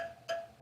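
A steel spoke on a bicycle wheel still mounted on the bike is tapped twice, giving short metallic pings with a ring near 670 Hz. The spoke sounds lower than the tighter ones, showing it is loose and needs a little tightening.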